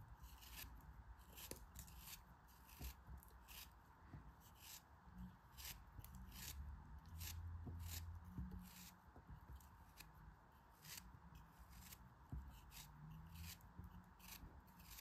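A knife blade slices and scrapes through a solid chunk of yellow kinetic sand held in the fingers. Crisp, bright grainy crunches repeat at an uneven pace over a soft low rumble.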